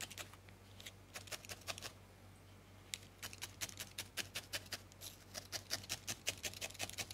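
A thin steel felting needle repeatedly stabs a small, solid ball of grey-white felted wool held between the fingertips, up close. Around 29 short, dry, bright pokes with a crisp scratchy texture come in an uneven rhythm, with a brief pause early on. A faint low hum sits underneath.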